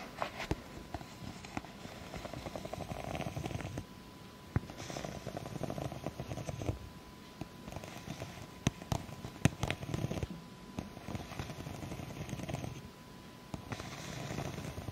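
Long acrylic nails scratch and tap the ribs of the same empty, clear ribbed plastic cup turned on its side. Bursts of low, rough scratching alternate with brief quieter pauses, punctuated by sharp, short-lived taps. A faint steady tone runs underneath throughout.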